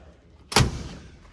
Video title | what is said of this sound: 2021 MAN CAVE TOUR, stacked full of legit dream cars. | that sounds solid too when you close that